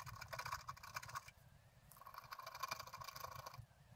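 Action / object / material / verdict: scrape / black-coated scratch art paper card / coated paper / none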